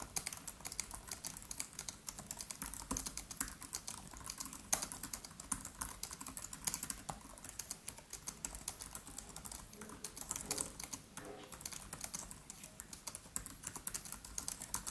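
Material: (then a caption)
Plastic. Both hands type quickly with the fingertips on the built-in keyboard of a MacBook Pro, whose black plastic keys are set in an aluminium body. The result is a steady, quiet stream of crisp, bright clicks and taps that cut off almost instantly, with slightly louder bursts now and then.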